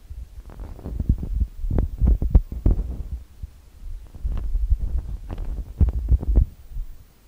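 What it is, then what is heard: Tapping directly on metal mesh microphone grilles. Fingertips and long manicured nails tap and rub directly on both metal-grille XY mic capsules of a handheld TASCAM DR-40X recorder with a plastic body. The result is a quick, irregular run of deep, boomy thumps with dull rubbing between them, with almost all the sound in the low end and almost no high content.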